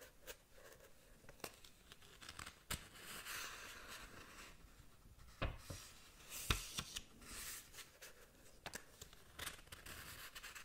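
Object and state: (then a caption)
Paper manga book. A small paperback manga book is held open while long nails scratch across its paper pages. Quiet, bright scratching and rustling is heard, broken by sharp clicks and louder swipes.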